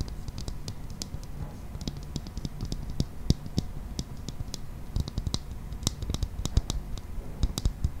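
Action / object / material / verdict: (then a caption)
tap / hollow clear plastic toy ball / plastic / none. Fingernails tap quickly on a hollow, transparent, hand-sized plastic toy ball with a green toy inside, held in both hands. The result is a steady run of short, light, clicky ticks with bright high edges over a low, soft rumble, each tap dying away almost at once.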